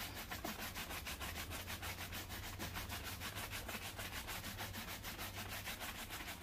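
A wooden-backed bristle brush makes fast strokes across a black leather loafer worn on a foot and steadied by one hand. It gives a rapid, steady rhythm of bright, scratchy swishes, about three per second, over a constant low hum.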